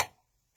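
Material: Metal.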